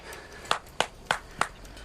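A buried steel cylinder about eight to ten inches in diameter, thought to be one of the seven fuel-holding firing tubes of a WWI flame projector, is probed near its flange in the clay under timbers at a Somme excavation. Four short, sharp ping-like hits ring briefly around 700 Hz with bright overtones. The tube sounds hollow.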